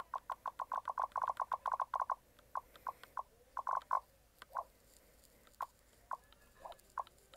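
A fingertip clicks and rubs the shoulder button and grip of a white plastic Logitech G Cloud handheld game console. Quick, dry, short clicks with a mid-pitched tonal snap come in a fast run at first, then space out, mixed with a few soft rubbing swishes. The clip is quiet and close, with no low rumble.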